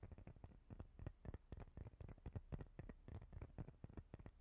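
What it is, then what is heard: Plastic face cleansing brush, tapped and scratched. Long painted fingernails scratch and tap a palm-sized, transparent plastic face cleansing brush with a fine grid pattern and a ridged rim. Rapid, irregular, quiet taps land in short dull clicks, with soft scratching between them. The sound is low and muffled, and each tap dies away almost instantly.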